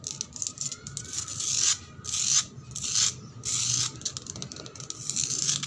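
Long black pointed nails scratch a flat, solid, rough concrete floor that is damp and gritty, with patches of red paint. Rapid, uneven strokes give bright, hissy scraping bursts that swell and fade one after another, with a faint steady tone beneath.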